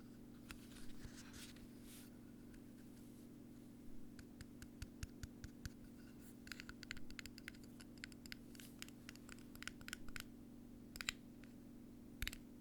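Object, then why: Thin metal cap with cardboard liner. A thin, bendy metal cap with paper or cardboard on the inside is played on by itself, producing quiet scratching and scattered light, dry taps and clicks that stop almost instantly. A faint steady low hum runs underneath throughout.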